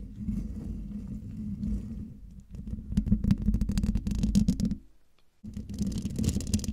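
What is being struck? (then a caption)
Metal mesh microphone grille. Long dark fingernails of both hands scratch across the hollow metal mesh grille of a silver microphone, making dense, rumbling, low scraping with a steady hum-like tone and bursts of rapid ticking clicks. The scratching briefly drops to near silence, then resumes with brighter, hissy scraping.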